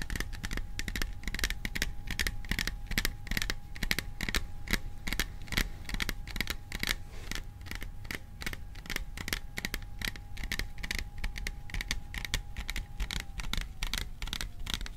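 Fingertips tap rapidly and irregularly on the sides of a hollow, cylindrical printed metal popcorn tin held in both hands behind the microphone. Each tap is a short, bright metallic tick over a soft low thump, dying away almost at once. A faint steady tone hums underneath for most of the clip.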